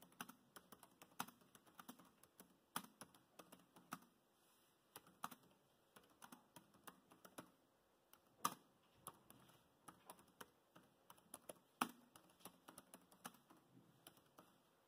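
Fingertips of both hands type steadily on the plastic chiclet keys of a dark grey laptop keyboard. Quiet, short, dry clicks patter in an uneven rhythm with a soft low-mid body. A couple of noticeably louder taps stand out near the middle and late in the clip.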